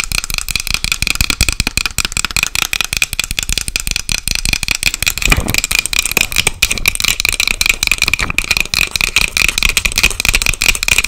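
Long acrylic nails tap fast on a small, light, hollow wooden box with a dark metal clasp and its lid closed. The result is a dense, steady stream of sharp, dry clicks that stop almost instantly, with a bright ring near 2.4 kHz. A brief low thump comes in at about 5.3 seconds.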